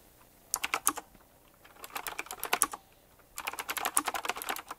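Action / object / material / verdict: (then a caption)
tap / mechanical keyboard with round plastic keycaps in metal rings / plastic / none. Both hands type fast with bare fingertips and short nails on a full-size retro typewriter-style mechanical keyboard with round black plastic keycaps set in chrome rings and a glossy black frame. Three quick bursts of sharp, bright clicking keystrokes are heard, separated by short pauses, each click snapping off almost instantly with no low thump.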